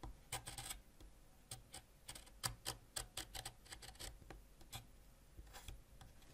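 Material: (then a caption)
Wax. A white ceramic knife scrapes along the length of a solid purple wax crayon, shaving off wax in a quick series of short, dry, bright scratches that stop almost instantly. Faint low rumble sits underneath, and the scrapes leave wax shavings behind.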